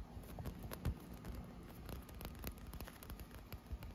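Short nails scratch and tap a blue inflated PVC pool float with a ribbed, textured surface. The result is a quiet, steady patter of soft, dull taps and muffled thumps, mostly low and boomy, with light scratchy ticks and very little ring.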